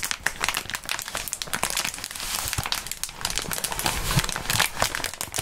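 A clear plastic bubble wrap sheet is stretched and crumpled by gloved fingertips. Dense, bright crinkling and crackling runs continuously, with many sharp little snaps.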